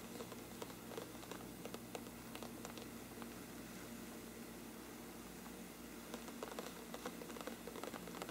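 Both hands scratch with their fingertips down the sides of a large, hollow, thin-walled bell-shaped lampshade with a mottled parchment-like paper surface, moving from top to bottom. The result is a quiet, steady papery scratching with faint crackly ticks scattered throughout, quietest in the middle stretch.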